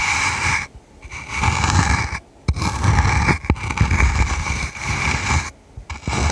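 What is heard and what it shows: Long red nails scratch and tap the top of a small hollow dome-topped box covered in red flocked velvet, held in one hand. Bursts of bright, rasping scratching alternate with short quiet pauses, broken by a few sharp taps with a low, hollow body.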